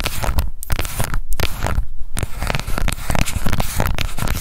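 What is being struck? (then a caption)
Small round plastic cushion compact. Long nails scratch the base and rim of a small round pink plastic cushion foundation compact with a printed label, held in both hands. The result is a steady run of dry, crackly scratches with short quiet gaps, heavy and close in the low end.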